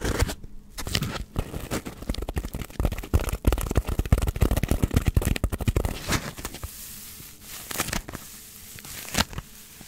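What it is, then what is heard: Styrofoam block. Long nails scratch a solid, hand-sized block of white polystyrene foam. The result is a dense run of dry, crackling scrapes and squeaks with deep thumping undertones, busiest through the first six seconds. It then thins into sparser, separate strokes.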